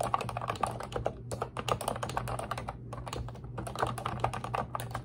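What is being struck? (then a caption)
Plastic computer keyboard. Long red nails type and tap rapidly on the round keycaps of a pink retro-style Ubotie plastic keyboard with a hollow body. The result is a fast stream of short, clacky plastic clicks with brief pauses, over a steady low hum.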